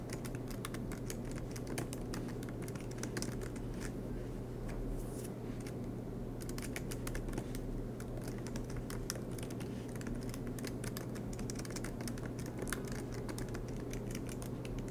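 Fingertips tap on the black plastic keys of an aluminum MacBook Pro laptop, typing with hands in sleeves. Quick, soft clicks come in a steady stream with a brief lull near the middle, over a constant low hum.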